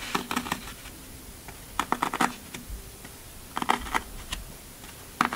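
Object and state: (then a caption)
Floral foam block. Fingertips press and poke dimples into the top of a large, solid rectangular block of green Oasis floral foam resting on a black table. Short, dry, crunchy crackles come in quick bursts, each dying away almost at once, with quiet pauses between the groups.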